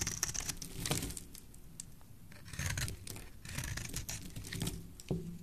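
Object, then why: Bar of soap shaved with a knife blade. A black utility knife blade shaves a solid, oval, cream-colored bar of soap held in the hand, cutting it into white flakes. Dry, rasping scrapes and crisp cutting strokes come in quick bursts, with bright, airy highs over a soft low rumble.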